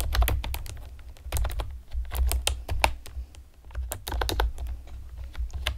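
Long painted nails and fingertips rapidly tap on a pastel plastic, typewriter-style computer keyboard with round retro keycaps and hollow keys. The result is a fast, uneven stream of short, bright clicks that come in bursts, heard over a steady low hum.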